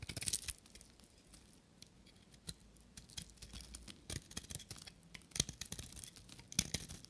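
A knife blade shaves flakes off a small, solid piece of dry white soap with a copper rim, held in the hand. Bright, crisp scraping and crackling bursts come at an irregular pace, with short dry snaps between quieter stretches.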